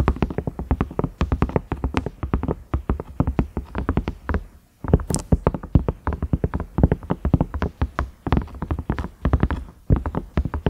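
Fingernails tap rapidly on a large cream-colored, ridged silicone microwave lid, striking its round knob and the ridges. The taps are dull, low thuds with almost no ring, coming in quick runs broken by brief pauses, with one brighter scratchy touch partway through.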